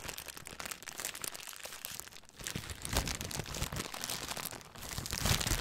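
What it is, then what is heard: Clear plastic bag. A thin clear plastic bag is stretched flat and crinkled between the fingers. It makes a dense, continuous crackle of quick bright snaps over a low rustle, swelling louder near the three-second mark and again toward the end.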